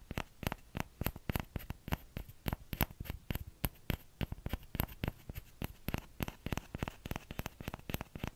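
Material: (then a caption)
Plastic. Fingertips tap the hollow bowl of a small orange plastic ladle held just above the mic. The result is a quick, uneven run of short, dry taps with a hollow plastic knock and a bright click on top, each dying away at once.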